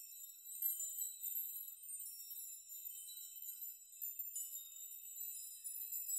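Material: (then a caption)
Metal. A hanging metal nail curtain is brushed and rocked by hand so the nails knock together. The result is a continuous, quiet shimmer of high, bright tinkling with many overlapping onsets and short rings, and nothing in the low range.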